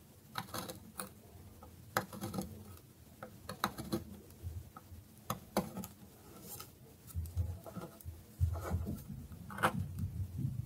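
A metal knife shaves a solid bar of dry soap resting on a wooden board, and the bar is briefly lifted. Crisp, dry scraping bursts and short crackles repeat over a soft low rumble, each with a quick bright edge and almost no ring. Light taps and thuds come from the board as the bar shifts.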